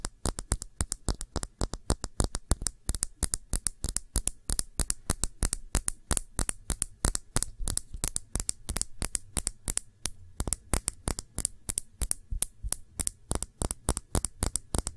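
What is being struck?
Small thick-walled glass perfume bottle, partly filled.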